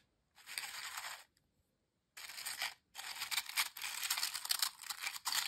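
Fingertips and hands stir and squeeze a pile of thin, dry, crisp ridged potato chips in a glass bowl, with the bowl possibly touched too. Bursts of bright, dense crackling and crunching come in three stretches separated by brief silences, with the last stretch running longest and loudest until the end.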